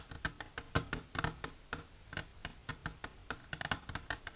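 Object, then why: Plastic container. Long natural nails with silver polish tap quickly on a plastic container, giving a steady run of sharp, dry clicks. Each tap is short and hollow with a bright edge and a little low body, fading almost at once between hits.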